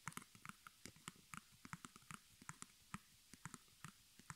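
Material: Cotton canvas.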